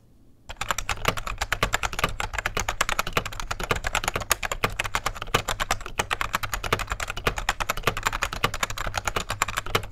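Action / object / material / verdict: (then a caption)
tap / plastic rubber dome computer keyboard / plastic / none. Fingertips of both hands type rapidly on a beige, full-size 1990s plastic computer keyboard with rubber dome keys and a hollow case, resting on a desk. A quick, continuous stream of soft, muffled key taps with bright clatter starts after a brief quiet moment, over a steady low hum.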